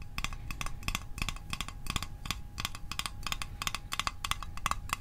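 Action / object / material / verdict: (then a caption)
tap / small metal mint tin / metal / none. A small, hollow, rectangular printed metal Altoids Arctic mint tin is held in one hand and tapped with the fingertips and short nails. The result is quick, uneven clusters of short, dry, tinny clicks with a ringing tone near 1.1 kHz and bright upper overtones. Each tap fades almost instantly over a low background rumble.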